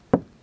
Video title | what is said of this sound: Windshield Crack Repair Resin from Ultra Bond | the installation stress which you can feel when you knock on it and you can hear it